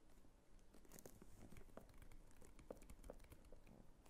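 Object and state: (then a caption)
Faux crocodile leather clutch. Long nails scratch across the textured flap and top of a small red croc-embossed faux leather clutch. The result is a quiet, continuous crinkly scratching dotted with short, dry ticks, with most of its weight low and very little bright edge.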